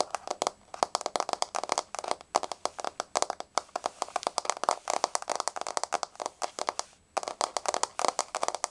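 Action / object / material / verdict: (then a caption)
tap / wooden floor / wood / none. A solid, flat wood-grain floor is quickly tapped by the long blue-painted fingernails of both hands. The result is a fast, steady stream of short, dry clicks with a bright edge and almost no ring. Brief pauses come near 2.1, 3.5 and 7 seconds.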